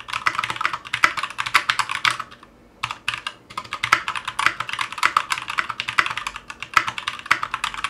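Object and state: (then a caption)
Mechanical keyboard with ABS plastic keycaps. A 60% Clueboard mechanical keyboard with Zealios V2 62g switches, in a metal case with GMK ABS plastic keycaps, rests on a cutting mat and is typed on with the fingertips of both hands. Quick, sharp clacks run in a steady stream, with a brief pause near the 2.5-second mark. Each press is bright and dry and dies away almost instantly, with no low-end thump.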